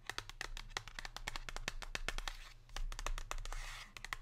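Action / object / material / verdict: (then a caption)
tap / thin printed cardboard box / cardboard / none. Long pink nails tap and scratch the glossy surface of a thin printed cardboard chocolate box, which lies flat and is held. Quick, dry clicks ring near 1.8 kHz and die out almost at once, with two stretches of soft, bright scratching hiss between the taps. A low steady hum sits underneath throughout.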